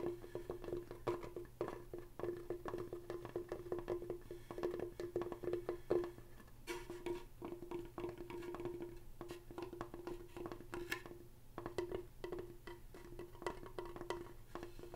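Fingertips and nails tap and knock across the front of a large, solid, flat wall sign made of wooden planks with painted white lettering. The clip is a quiet, steady run of quick hollow wooden knocks that share a clear tone around 350 Hz, each dying away almost at once. Occasional sharper nail clicks add a bright edge.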